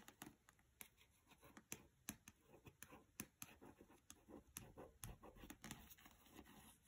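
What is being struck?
Paperback book with glossy card cover.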